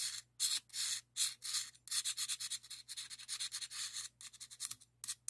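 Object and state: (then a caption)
Steel open-end wrench scraped with a screwdriver. A screwdriver's metal shaft is rubbed and scratched across a hand-held solid chrome steel open-end wrench marked 18 in repeated scraping strokes. The result is a quick, uneven run of short, bright, hissy scrapes with brief silences between them and almost no low end, over a faint steady low hum.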